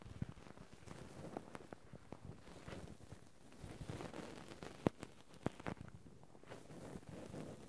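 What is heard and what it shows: Two cotton swabs steadily scratch and rub the metal mesh microphone capsules of a Zoom handheld recorder. The result is a close, low-heavy scratching rustle dotted with short dry clicks. A couple of sharper pops stand out near the middle.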